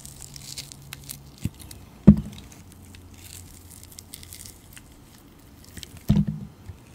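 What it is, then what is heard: Glycerin soap being shaved with a blade. A utility knife blade shaves thin slices from a round, solid, translucent glycerin soap disc with green glitter, held in the palm. Quiet, soft scraping and faint crinkling run throughout, with two louder, dull cutting bursts partway through and near the end.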